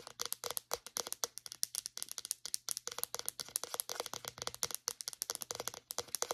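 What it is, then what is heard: Plastic deodorant stick. Long nails tap and scratch rapidly on the casing and base of a small white plastic deodorant stick. About 45 quick, bright plastic clicks are heard, with a dry, crinkly texture. Each click dies away almost at once over a faint low hum.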